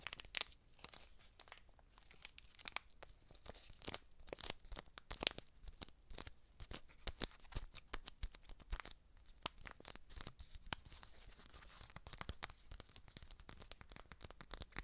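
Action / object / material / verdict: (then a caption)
scrape / foil-lined paper seasoning packet / foil laminate / none. A small red foil-and-paper laminate seasoning packet, held in both hands, is crinkled and scratched with long dark nails. Dense, crisp crackles and sharp ticks run steadily throughout at a quiet level, bright and high-pitched, and each dies out instantly.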